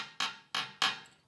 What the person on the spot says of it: you can hear it tapping against the sink here